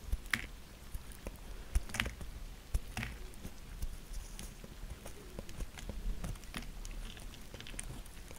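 A small solid pink bar of soap, held in fingers with medium manicured nails, is scraped and cut with a thin gold-coloured knife, peeling off shavings. Short, dry scraping clicks and soft crisp taps come in an irregular series over a quiet, low background hum.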